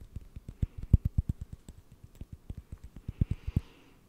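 A small, flat, round, solid wooden lid is held in both hands close to the microphone and tapped and scratched with fingertips and nails. About twenty quick, dry, low thuds come in an irregular rhythm, with a faint scratching hiss near the end.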